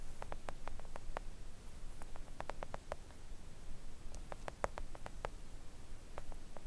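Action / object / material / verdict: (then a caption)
tap / silicone mat tapped with acrylic nails / silicone / none. Long acrylic nail tips gently tap a flat, thin, solid pink silicone nail art mat. The taps are quick, soft clicks with a muted midrange tone and almost no ring, coming in uneven clusters over a steady low background rumble and hiss.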